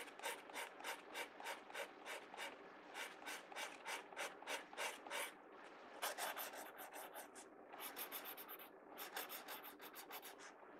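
A pencil tip scratches quick hatching strokes across the page of an open paper sketchbook. Rapid, fairly steady back-and-forth rasps carry bright, dry scratching with a papery hiss. A short pause near the middle is followed by denser bursts of strokes.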